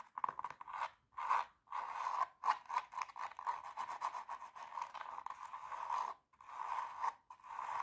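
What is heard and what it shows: Long teal nails scratch the toe and upper of a hollow, empty silver glitter high-heel pump with a black lining, held up close. The result is a dry, raspy scratching in fast strokes, centered in the midrange with no low end. The scratching comes in bursts separated by brief silent pauses.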